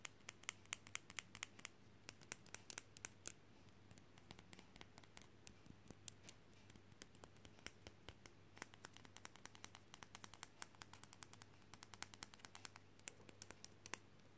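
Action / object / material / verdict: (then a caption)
tap / painted resin frog figurine magnet / resin / none. A small, solid, painted frog figurine fridge magnet, likely resin, with a flat back showing its magnet, is held in both hands and fast-tapped and scratched with short fingernails. The result is a rapid, uneven stream of sharp, dry clicks with bright, crisp edges and no ring, with soft scratching between taps over a faint steady low hum.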